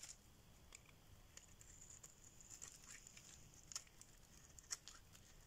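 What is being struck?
Bar of soap scraped with a metal blade.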